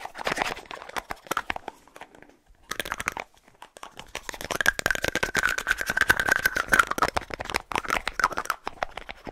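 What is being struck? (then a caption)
Plastic deodorant stick with plastic cap. A small, hollow white plastic deodorant tube with a light blue plastic cap is scratched and tapped quickly with fingernails on the cap and body. The result is a dense run of sharp, dry clicks and crinkly scrapes with short pauses, sitting mostly in the mid and bright range.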